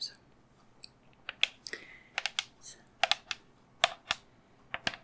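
A life-size, hollow-looking cream resin skull candle holder with black candle cups on top is held in one hand and tapped with long fingernails. About sixteen sharp, bright, dry clicks come in irregular bursts, each dying away almost instantly with very little low end, with a few softer scratchy brushes between them.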